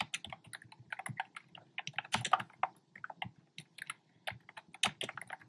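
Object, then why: Plastic keyboard with plastic keycaps. Fingertips with short nails tap away at a black plastic keyboard fitted with round, retro-style plastic keycaps in cream, pink and red. The hollow keys give about 28 quick, bright, clacky clicks in an uneven typing rhythm. Each click dies away almost at once, with a few louder strokes standing out.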